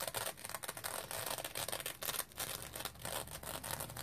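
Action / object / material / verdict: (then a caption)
scrape / foam sponge with synthetic mesh cover / synthetic mesh / none. Fingernails scratch the surface of a dry rectangular foam sponge covered in yellow-green, smiley-printed synthetic mesh with a yellow edge. The result is a quick run of dense, bright, papery scratching strokes with a hissy high end and very little low rumble.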